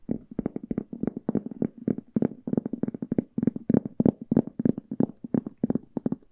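Long nails scratch and tap quickly across the textured printed cover of a large, old hardcover book held upright. The taps land in an uneven, rapid stream of short, dry clicks, with a hollow mid-low body under brief scratchy rasps and little high sparkle.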